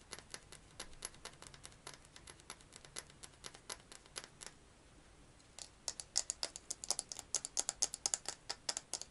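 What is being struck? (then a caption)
Glass perfume bottle with metal cap. A fingernail taps rapidly on a clear glass perfume bottle with a metal cap, striking both the glass and the cap. The taps are short, dry, bright clicks with almost no low end, and each dies away almost at once. After a brief pause midway, the tapping resumes louder and sharper, with about forty taps in all.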